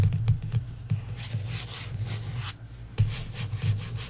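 Fingertips and long nails rub and scratch the glossy cover of a paperback novel lying flat on a table. Soft, dry rasping strokes with a bright, hissy edge sweep back and forth over a steady low hum around 105 Hz, broken by a few sharper scrapes.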